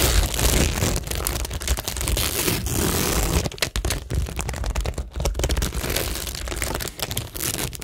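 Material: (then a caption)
Plastic, cork. Long nails scratch steadily over a flat, solid framed cork board covered in rows of plastic rhinestones and pearl stickers. The result is a dense, crackly scraping with a low rumble beneath it and brief dips near the middle.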